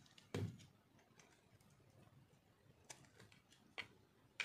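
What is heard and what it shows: A metal knife shaves crunchy flakes off a solid white chunk of dry soap held in one hand. Sharp, bright scraping crunches stand out over quieter scratching, with the loudest coming at the start and the end.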